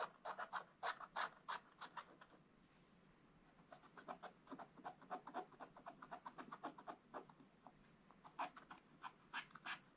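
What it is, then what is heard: Scratch-art coated paper page. A wooden stylus scratches the presents into a black-coated scratch-art book page with quick back-and-forth strokes. Dry, raspy scratching bursts center around 1 kHz with bright edges and stop for about a second and a half before resuming at a brisk, uneven pace.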